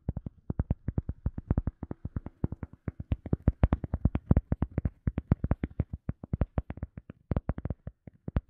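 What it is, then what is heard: EVA foam sponge. Fingertips and nails tap and scratch rapidly on a round, solid, soft teal EVA foam sponge disc. About 63 quick, dull, low-pitched thuds come in an uneven, fast rhythm with faint scratchy texture between them. Each tap is deadened at once by the soft foam.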